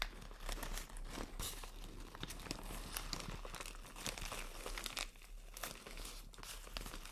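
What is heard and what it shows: A thin white plastic shower cap with green print is scrunched, scratched and crinkled with long nails. A steady, quiet stream of bright, crackling crinkles and sharp scratches runs throughout, over a low rumble.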